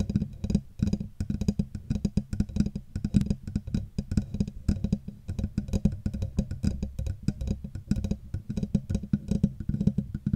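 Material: Metal.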